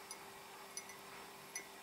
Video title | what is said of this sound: ASMR Mug Collection Show & Tell + Tapping Tingles! | It's got a nice sound to it.